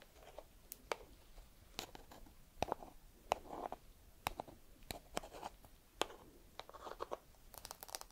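A single small whole walnut in its hard, woody shell is held close to the camera and scratched with long red nails. Quiet, dry scratching and rasping mix with around twenty sharp, bright clicks as the nails tap and drag across the shell. Each click dies away almost instantly.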